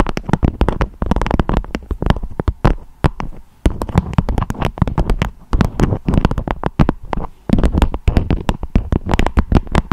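A beeswax-coated fabric wrap with a strawberry print, shaped into a dome, is tapped and scratched with long acrylic nails. Rapid, dense crinkly taps sound with a hollow, low-heavy thump and short bright clicks that die away almost instantly. The tapping pauses briefly twice before resuming.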